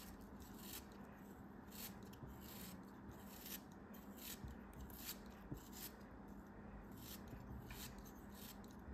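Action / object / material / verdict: scrape / kinetic sand block cut with a blade / kinetic sand / none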